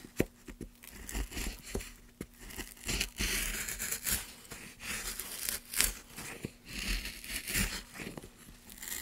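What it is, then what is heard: Pine wood block being carved. A gouge carves strokes into a solid light pine block held in a gloved hand. Each stroke makes a bright, dry scraping and tearing sound with crisp crackles. Sharp clicks mark where the blade bites into and leaves the wood.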